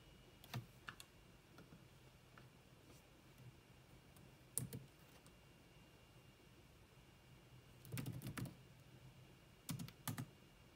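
Long manicured nails and fingertips tap rapidly on the dark plastic chiclet keys of a grey laptop with a hollow body. The keystrokes come in short, quiet bursts with pauses between them, and in a few places they cluster into fast runs. Each one is a brief, bright click over a soft low thump that dies away almost at once, while a faint steady tone hums underneath.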